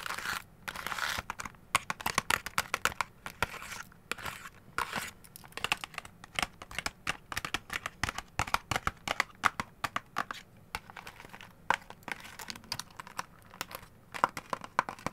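Long gold claw nails scratch and tap the surface of a flat, hollow orange printed cardboard box of orange and lemon sweets that appears full. Dry, papery scratching alternates with rapid, sharp clicky taps that stop almost instantly, with a bright, crisp edge and almost no low end.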